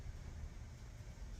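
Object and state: Nothing is struck.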